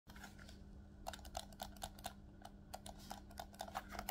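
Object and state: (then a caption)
Plastic game controller buttons. Fingertips rapidly press the shoulder buttons and triggers of a black plastic Nintendo Switch Pro controller, a hollow handheld device held in both hands. About 18 short, dry plastic clicks and taps are heard, each with a bright snap and a tick near 800 Hz. A steady low hum sits underneath.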